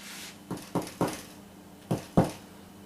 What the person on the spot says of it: sounds hollow that means it's cooked